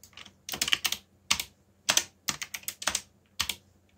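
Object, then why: Plastic mechanical keyboard. Fingertips type on the keycaps of a backlit black plastic mechanical keyboard, producing about 15 sharp, bright clacks in uneven bursts with short pauses between them. Each keystroke is crisp and dies away almost instantly, with little low end.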